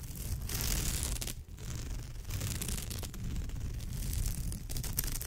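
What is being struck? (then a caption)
Woven straw bag. Long nails scratch across the woven texture of a straw bag's surface. The result is a continuous, crackly rasping with a rumbling low end and a hissing bright top, broken by a brief quiet dip near the middle.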